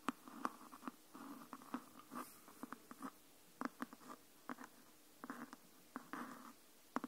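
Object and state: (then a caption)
Hardcover book, tapped and scratched. Long nails tap and scratch along the top edge of a green hardcover book. The result is a quiet series of sharp, dry taps with no ring, broken up by short soft scratching passages.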